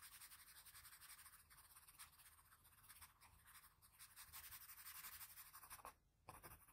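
A patterned blue wooden graphite pencil, held in the fingers, makes short scratching and shading strokes on the eye area of a pencil portrait on a large flat sheet of drawing paper. The quiet, dry strokes give a bright, papery scratch that rises and falls unevenly, with a brief near-silent pause just before the end.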